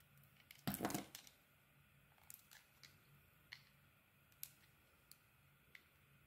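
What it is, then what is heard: Bar of soap being carved. A metal blade cuts and scrapes a solid rectangular bar of soap, held in the hand, with a pink beaded coating and a blue swirled interior. It opens with a loud, crunchy, crackling burst, then a series of soft, sharp, bright clicks and scrapes spaced irregularly over a quiet background.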